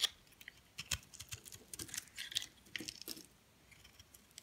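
A metal blade scrapes and cuts flakes off the edge of a solid white soap bar held in the hand. A quiet, irregular series of short, crisp scraping and crackling cuts is heard, mostly high and bright with little low end. Each cut dies away almost instantly.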